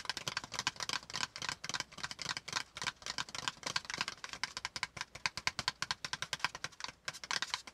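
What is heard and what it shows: Fingertips of both hands tap quickly on a flat brown kraft cardboard folder piece, with a hollow folded insert underneath, lying on a notebook. The result is a dense, continuous patter of crisp, dry taps with bright, papery clicks centered around 2.5 kHz, little low end, and almost no ring after each hit.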